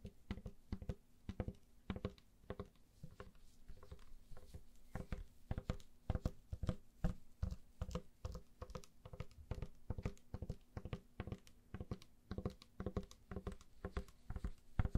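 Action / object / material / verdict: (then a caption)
tap / plastic spray bottle / plastic / none. A hand-sized, hollow pink plastic trigger spray bottle is tapped and scratched along its sides by long nails in black gloves. Quick, dense, hollow taps and scrapes patter on with almost no ring, and most of the energy sits low with a dull, knocking body.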